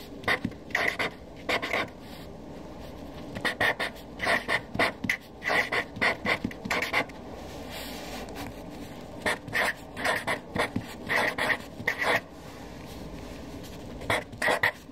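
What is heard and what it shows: A hand with long dark nails writes with a Sharpie felt-tip marker on a white paper sheet resting on a desk, the tip scratching across the paper. Short bursts of bright, squeaky scratching strokes come in quick clusters, separated by brief quiet pauses throughout.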